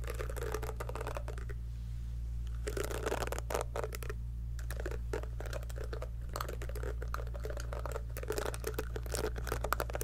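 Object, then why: Silicone scalp massager brush. Long acrylic nails pluck and flick the soft silicone bristles of a small pink heart-shaped scalp massager brush, held in one hand above a fluffy mic. Rapid, dense, dry clicks and crackly flicks run throughout over a steady low hum, with a brief quieter pause early on.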